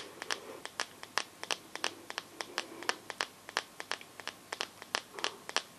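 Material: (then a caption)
Glass. Long nails tap the glass back of a teal Samsung phone with a metal frame, giving a fast, irregular run of about 32 sharp, bright clicks. Each tap dies away almost instantly, with no low end and only faint rustle between the hits.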